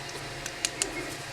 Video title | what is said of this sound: 3D Elephant | a piece of wood that almost sounds like ceramic when you tap against it